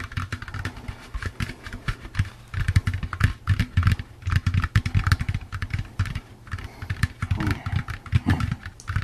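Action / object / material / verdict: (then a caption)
tap / plastic pumpkin candy bucket / plastic / none. A hollow, empty orange plastic jack-o'-lantern candy bucket is tapped with the fingertips and nails in fast, uneven runs. The taps are quick, dull knocks with a low, boomy hollow body and a light clicky edge from the nails, each dying away almost at once.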